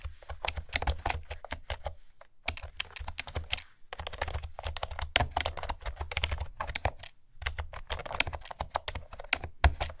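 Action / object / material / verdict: tap / plastic keyboard with round keycaps / plastic / none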